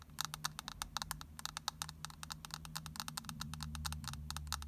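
Long nails scratch and tap the rim and pressed-powder surface of a palm-sized round plastic eyeshadow compact with a green glittery rim. About 34 quick, sharp, dry clicks and scrapes follow one another with almost no ring. A low, steady hum sits underneath.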